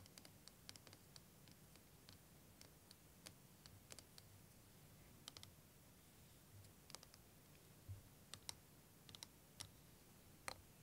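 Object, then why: Curved plastic liquid timer. Fingernails tap along the surface of a curved, clear plastic wavy liquid timer filled with green liquid, held in both hands. Short, sharp, bright clicks come at irregular intervals, some louder than others, over a steady low background rumble.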